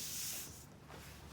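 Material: Nothing is struck.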